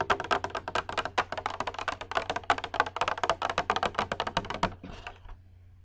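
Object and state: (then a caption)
Glass bowl tapped with nails. Long red acrylic nails tap rapidly on a small, hollow, empty clear glass bowl or dome held in both hands near the microphone, making about 26 crisp, bright clicks with a short glassy ring near 800 Hz over a faint low hum. The tapping ends in a brief, softer scratch of the nails across the glass, then fades to quiet.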